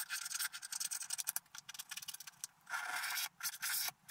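A wooden stylus scratches along the edges and border of a black-coated scratch art paper card while the other hand holds the sheet. Quick, dry, bright scratching strokes come in a rapid, uneven run, then give way to two longer, steady scrapes near the end. There is no low end and almost no ring after each stroke.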